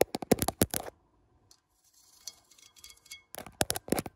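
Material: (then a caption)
Ceramic. Long manicured nails tap and scratch along the ribbed outer wall of a large beige ribbed ceramic plant pot, which is hollow and filled with soil. A quick burst of sharp, dry taps gives way to a pause and then soft, thin scratching across the ribs. A second run of crisp taps follows, each one dying away almost instantly.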